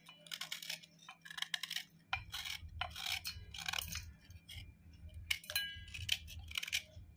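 A knife edge scrapes steadily across a hollowed white slate block of chalky clay held over a steel plate, giving crumbly, gritty scraping in quick, bright bursts with faint metallic glints. A low rumble comes in about two seconds in and continues beneath the scraping.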